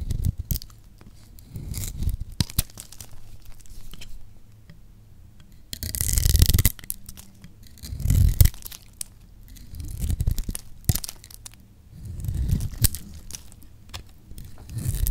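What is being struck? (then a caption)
Bar of soap shaved with a metal blade. A metal blade shaves and scrapes curls off a solid yellow bar of dry lacquered soap held in one hand. Dry tearing, crumbly scraping strokes come in uneven bursts every couple of seconds, each with a low, muffled body and sharp crackling snaps, separated by brief near-quiet gaps.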